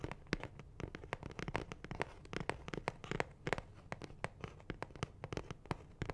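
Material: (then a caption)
Cardboard. A medium, hollow blue cardboard Ammex box of nitrile gloves, held in both hands close to the mic, is tapped rapidly with fingernails. The result is a quiet, irregular stream of short, dry, clicky taps with a hollow low body and almost no ring after each tap.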